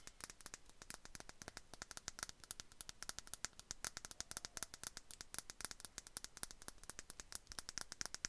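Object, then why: Small glass perfume bottle. A small clear glass perfume bottle with a bow cap is tapped and scratched with long nail tips close to the mic. The result is a quiet, rapid, continuous stream of sharp, bright clicks and scratches with almost no ring, over a soft, steady hiss.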